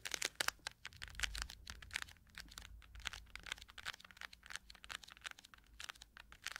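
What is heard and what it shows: Long nails scratch and tap the plastic back of a round cushion compact case, then move to its quilted lid. The sound is a quiet, dense run of crisp, bright clicks and scratchy rasps with almost no low end, each tap dying away at once.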